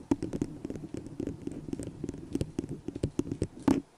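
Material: Plastic.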